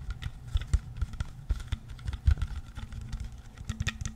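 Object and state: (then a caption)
Plastic water bottle. Fingertips and nails tap and scratch the label and plastic body of a clear, partly filled plastic water bottle. The result is a quick, irregular run of short, dull, low thumps with faint crinkly scratching between them, each tap dying away almost at once.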